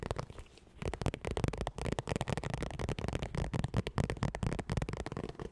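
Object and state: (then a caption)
Vinyl makeup bag. Long nails rapidly tap and scratch a medium zippered makeup bag with a hollow, iridescent textured holographic vinyl cover as it is held up. After a brief quieter opening, a dense stream of soft, low, hollow thuds mixes with crackly plastic scratching, each hit dying away almost instantly.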